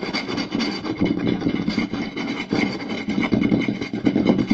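Fingertips and nails scratch and tap near the center and lower edge of a round, solid wooden plate lying flat. The result is a fast, continuous rasping scrape with quick, dry taps mixed in, centered in the low-mids with faint bright bands and no ring after each hit.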